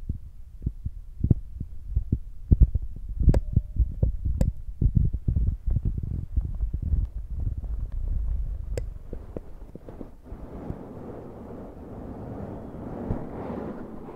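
Fingertips tap the top of a black foam windscreen on a Zoom recorder, making dull, low, muffled thumps in an uneven rhythm. Near the end, hands hold the windscreen's sides, and the taps give way to a softer, continuous rustling scrape.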